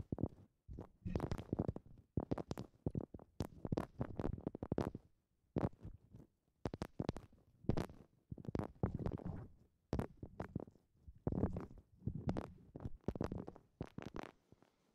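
Long nails scratch and rub the rough husk of a hollow, fibrous coconut shell half resting over a microphone. Quiet bursts of dry, scratchy rasping come in quick clusters separated by brief pauses, with a hollow, low-heavy body and very short decay.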